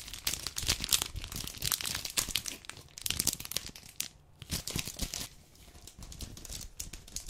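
A full red dark chocolate bar in a plastic-paper wrapper, lying on a wooden table, is rubbed and crinkled with fingertips and nails. The result is a dense run of bright, crackling crinkles and tearing-like rustles, with short quieter pauses near the middle and later in the clip.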